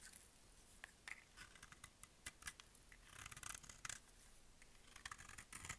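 A solid, bright-green, rectangular bar of dry soap is held in one hand and carved with a utility-knife blade, with repeated cutting strokes peeling off layered flakes. The strokes make quiet, dry, crisp scraping and crackling sounds in a quick, uneven series of short bright bursts. Louder clusters come near the middle and the end.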